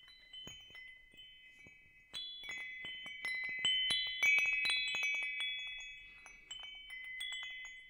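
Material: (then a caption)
Metal. A hanging wind chime with hollow metal tubes is held and swung toward the camera, its tubes clinking together in a loose series of strikes. Each strike sets off bright, high, bell-like tones centered around 2.3 kHz that overlap and ring out for over a second before slowly fading.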